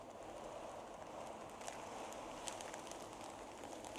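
Fingertips and long painted nails scratch and brush across a large, thin sheet of magenta tissue paper lying flat on a table. A steady, quiet, papery hiss centered in the midrange is heard, with faint bright crinkles and ticks scattered throughout. The result is a continuous soft crinkling with no strong low end.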